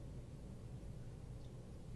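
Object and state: Nothing is struck.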